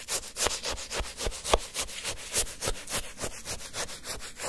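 A wooden stick scrapes and churns frozen orange shaved-ice sherbet in a paper cup. Rapid, crunchy, gritty strokes come about three to four times a second in an uneven rhythm, each a short bright hiss of icy granules with almost no ring.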